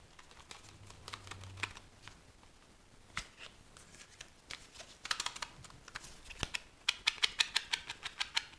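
A small paperboard tuck box with a deck of cards inside is held in one hand and shaken. Dry, bright clicks and rattles come in an uneven patter, with quiet, scattered taps at first and then louder, quicker bursts toward the end. Each sound dies away almost instantly.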